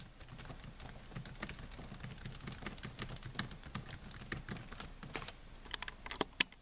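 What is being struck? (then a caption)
Plastic laptop keyboard keys. Fingertips type on the plastic keys of a silver Dell laptop keyboard with a metal and plastic body, making a fast run of soft, dry clicks with bright, short-lived attacks over a low thud. A few sharper, louder taps come near the end as the hand lifts away from the keys.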